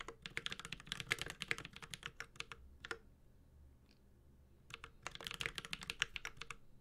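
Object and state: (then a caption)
Mechanical keyboard with metal case and plastic keycaps. Fingertips of both hands type on a Space65 Cybervoyager 65% mechanical keyboard with Holy Panda switches, an aluminum case and ABS keycaps. Rapid, bright, clacky keystrokes come in two bursts separated by a quiet pause of about a second and a half.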